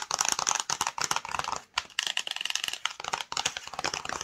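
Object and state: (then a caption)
Cardboard box tapped and scratched with nails. Long fingernails rapidly tap and scratch the front and edge of a flat, hollow, black and yellow printed cardboard UniqueMe screen protector box held in the hands. The result is a dense stream of crisp, bright clicks and scrapes that die away almost instantly, with brief pauses near 1.7 and 3.3 seconds.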